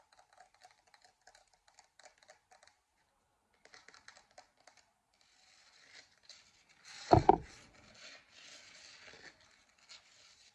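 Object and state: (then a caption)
Plastic moon lamp, tapped and scratched. Long dark-painted nails tap and scratch across the textured crater surface of a glowing, hollow 3D-printed plastic moon lamp, about 15 cm across, held in both hands. Clusters of light, crisp taps come first, followed by a steadier scratching hiss. Around seven seconds a louder, fuller burst of rubbing stands out before the scratching trails off quietly.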